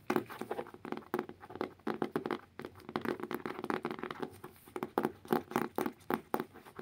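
Both hands scratch and tap the cover and back of a blue hardcover book. A quick, uneven run of dry taps mixed with brushing scratches has a hollow, mid-pitched body, with each tap dying away almost at once.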